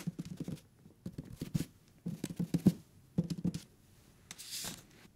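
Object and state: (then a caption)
Hardcover paper book. Fingertips and nails tap rapidly on the page edges and cover of a thick hardcover paper book. The taps land in quick clusters with dull, low thuds and a little papery scratch, ending in a brief brighter brushing sound.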